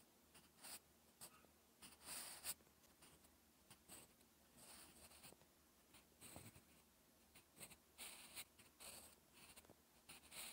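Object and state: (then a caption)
Pencil writing on textured paper. A wooden graphite pencil scratches across a flat sheet of lined, textured writing paper while writing Korean characters. Quiet, dry, bright scratching strokes come in short bursts, separated by soft pauses and a faint low hum.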